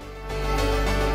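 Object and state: Nothing is struck.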